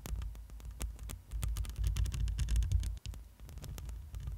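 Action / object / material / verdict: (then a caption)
scrape / metal mesh microphone grille / metal mesh / none. Long glossy nails scratch the woven metal mesh grille of a black microphone up close. The result is a rapid, uneven stream of crackling scratches over a deep, throbbing low rumble, with a brief dropout just after three seconds.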